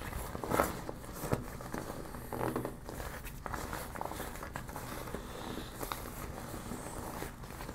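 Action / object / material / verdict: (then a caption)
scrape / deflated PVC vinyl beach ball / PVC vinyl / none. A deflated yellow smiley PVC vinyl beach ball is bunched up and crumpled by hand while long nails rub across its glossy vinyl. Soft, continuous crinkling and scratchy rubbing fill the clip, with a few louder crackling bursts near the start and around the middle before it settles into a steady, quieter rustle.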